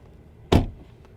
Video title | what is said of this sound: 2022 Porsche Taycan - BETTER Than A Tesla Model S? | Suono di apertura e chiusura della porta dall'esterno